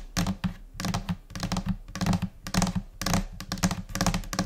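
Long painted nails of both hands tap rapidly across the large, flat, solid top of a white desk, which may be laminated particleboard. The result is quick, irregular bursts of bright clicking over a low, dull thud, with each tap dying away almost at once.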